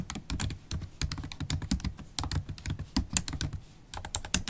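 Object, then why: Laptop keyboard, plastic keys in metal body. Fast typing on a MacBook Pro laptop keyboard, with low-profile black plastic keys set in a silver aluminum body, struck by long stiletto acrylic nails and fingertips. A dense stream of short, dry clicks and taps, each with a low thump under a bright, sharp nail tick, with no ringing between strokes.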